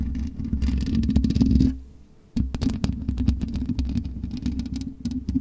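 Long nails scratch across the black metal mesh grille of a USB microphone, producing a dense, close, rumbling rasp with quick bright scrapes layered over a boomy low hum. The scratching grows louder, fades to near silence for a moment, then resumes in rapid, uneven strokes.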